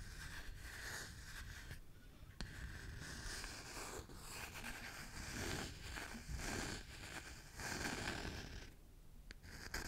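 Fingernails scratch the solid wooden back of a small oval wooden hairbrush with bristles, held in one hand. The result is a steady run of dry, rasping scratches that swell and fade in bursts, with a low rumbling undertone and a bright, hissy edge.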